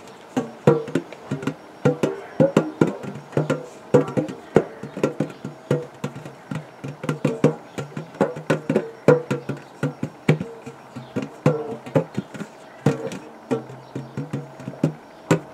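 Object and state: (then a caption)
Metal biscuit tin tapped. Fingertips of both hands drum and tap rapidly on the gold base of a large, round, hollow metal biscuit tin held against the chest. The result is a quick, uneven stream of short, dull, hollow knocks with a faint pitched tone and a low body, each dying away almost at once.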